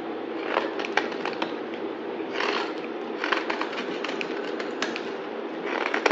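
A solid yellow bar of soap held in the hand is shaved with a utility knife blade, cutting and scraping. Dry, crackly scraping strokes come in short bursts, each with sharp crisp clicks of bright texture over a steady mid-range hiss.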